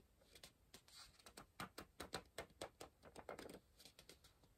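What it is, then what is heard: Pencil on a paper puzzle book. A pencil rapidly scratches and taps on a page of an open softcover paper word-search book, staying on the same spread. A quick, uneven run of short, dry scratchy taps rises and falls in loudness, with bright papery hiss and almost no low end, and each stroke dies away almost at once.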